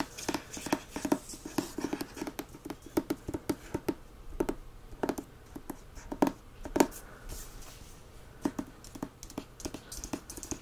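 Fingertips and short nails tap and scratch the solid card front and back covers of the paperback "The Grace of Wild Things." The result is a quick, irregular run of short, dry, close-miked taps with brief scratchy strokes in between, each tap dying away almost instantly.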